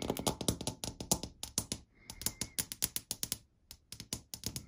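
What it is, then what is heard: Laminated chipboard cabinet panel. Long dark, glitter-polished nails quickly tap and scratch a flat wood-grain laminated panel near the door edge of a wardrobe or cabinet, likely chipboard. Dense bursts of short, dry, bright clicks come in rapid runs with almost no ring. A brief pause near the middle is filled by a faint steady tone before the tapping resumes.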